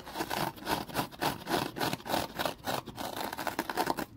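A small rectangular foam kitchen sponge is held and squeezed by hand while the fingers scratch its surface. It makes a quick, uneven train of dry, rasping scratches, each a short burst of hiss with a midrange peak and bright upper edges.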